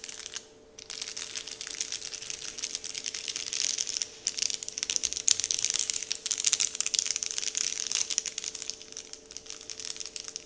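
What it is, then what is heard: Paper candy wrapper being crinkled. Fingers pinch and crinkle a large, flat, heart-shaped paper candy wrapper sheet printed with Dove branding. It makes a dense stream of bright, crackly crinkling with almost nothing in the low end, after a brief quiet gap near the start. A faint steady hum sits underneath throughout.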